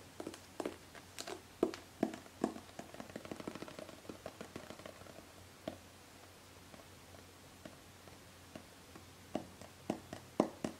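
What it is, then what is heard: Metal aerosol can. Long painted fingernails tap along the side of a hollow, gold metallic aerosol hairspray can held horizontally. The taps are quiet, short, mid-pitched clicks with a slight hollow tone and almost no ring. They come in irregular bursts, with a dense run early on, a sparse stretch, and louder taps near the end.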